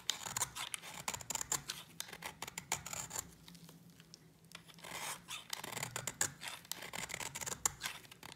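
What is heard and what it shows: A utility knife blade shaves curls off a solid white dry soap bar held in the fingers, making a rapid run of crisp, dry scraping cuts. The strokes sound bright and brittle with very little low end. A brief quieter stretch falls in the middle, and then the shaving picks up again.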